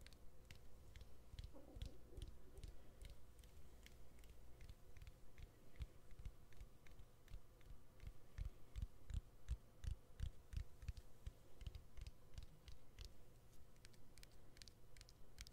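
Fingernails tap the edges and exposed battery of a smartphone with its back cover removed. A quiet, fast, uneven run of short taps continues throughout, each a dull low thump with a brief bright click on top and almost no ring.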